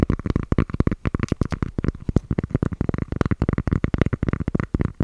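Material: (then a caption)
Cork. Cork is tapped over and over in a quick, steady stream of short, soft hits. Each tap is a dull, low knock that stops almost at once, with almost nothing bright in the sound.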